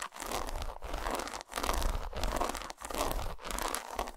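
Long almond-shaped nails scratch and tap across the textured, segmented squares of a whole, solid flat bar of dark chocolate lying on a carpet, then a single fingertip nail taps one square. It comes out as dense, crinkly scratching in sustained bursts with brief quiet gaps, with a dull low thump underneath and a bright, gritty edge on top.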